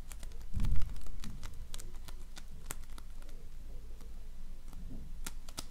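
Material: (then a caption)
Polystyrene foam. A donut-shaped ring of floam, slime filled with polystyrene foam beads, is pressed and rubbed with fingertips and nails. It gives quick, irregular crackling pops and sharp bright ticks over a soft low rumble. A louder muffled squish comes near the start, and the crackle then settles into a steady patter.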